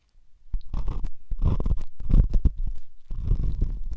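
A silver pen tip rubs and scratches inside the ear canal of the right white silicone dummy ear on a binaural microphone. The result is close, muffled scraping and rumbling that is almost entirely deep and low. It comes in rough bursts with brief pauses between them.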